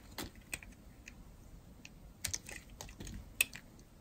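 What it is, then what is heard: Dry bar soap being carved. A metal blade carves slices from the edge of a solid, dry, yellow-and-white striped bar of soap. The cuts come through as short, crisp, bright clicks and scrapes, spaced irregularly over a quiet background. The sharpest snaps land near the middle and toward the end.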